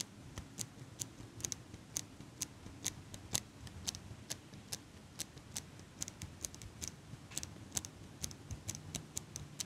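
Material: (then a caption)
Metal. A small metal eyelash curler is held in one hand close to the microphone while fingertips with long pink nails squeeze and release its handles. About 33 short, sharp, bright clicks and ticks ring out in an irregular rhythm, each dying away almost instantly. A soft low rumble sits underneath the clicks.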